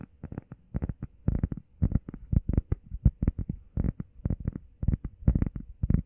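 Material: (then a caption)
Foam. Fingertips and nails tap and scratch fast on a flat, solid, heart-shaped grey textured foam workout pad held in both hands. A rapid string of dull, muffled thuds with short scratchy bursts, low and soft with almost no high end. Each tap dies away almost instantly.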